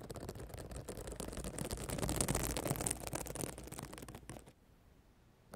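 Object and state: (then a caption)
Plastic sequin notebook cover. Long black nails scratch the flat reversible plastic sequins, which show an emoji face, against the cover of a spiral notebook. A dense, rapid scratching and rasping builds to its loudest around the middle. It then thins out and drops to near silence just before a faint final scrape.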